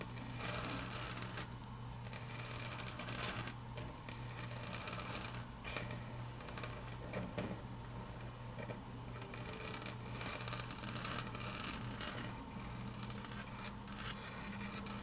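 Long natural fingernails tap and click across a large, flat, solid grey wood-grain laminate tabletop. Quick, bright clicks run continuously over a steady low hum, at an even level for the whole clip.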